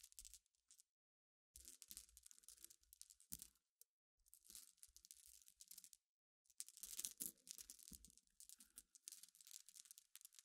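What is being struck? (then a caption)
Small glass pebbles scratched with fingernails. Long iridescent nails scratch across a pile of small clear solid glass pebbles resting on black cloth. The result is a quiet, bright, gritty scraping and clicking in bursts separated by short silences, with only faint low thuds beneath.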